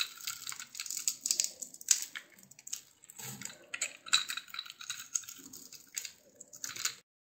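A blade scrapes and carves the surface of a solid rectangular bar of lilac soap with pink layers, embossed with "DURU" and held in one hand. Dry, crisp, bright scraping and crackling come in quick uneven bursts with short pauses between them. There is almost no low end, and each stroke cuts off sharply with no ring.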